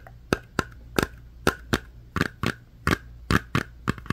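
A small round metal Crazy Aaron's putty tin, held close, has its lid and metal rim tapped and scratched with long fingernails. Thirteen short, sharp clicky taps ring out, each with a bright metallic tick and almost no ring, over a faint low hum.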